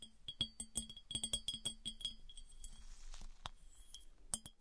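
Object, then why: Glass piggy bank. Fingernails tap rapidly on a smooth glass piggy bank, producing a quick, uneven run of clear, bright glass clinks. Each tap gives a short, high ring over a soft low knock and dies away almost at once. A few louder clinks stand out near the end.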